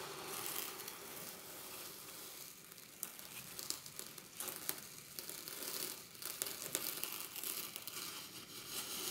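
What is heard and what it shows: Fingertips dig and rake through a glass dish full of small quartz pebbles and gravel, making the stones grind and rattle against each other. A steady, bright, gritty crunching runs throughout with almost no low end, broken by sharp little clicks as pebbles knock together.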